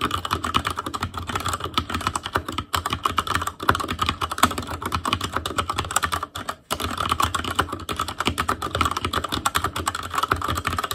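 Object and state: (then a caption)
Mechanical keyboard being typed on. Fingertips of both hands type continuously on an ASUS ROG Claymore Core mechanical keyboard with Cherry MX Red switches, black plastic keycaps on a metal frame and a hollow housing with RGB backlight. A dense stream of short, sharp clacks with a mid-range tone and a low thud beneath rolls on for eleven seconds, with only brief lulls near 2.7, 3.6 and 6.5 seconds.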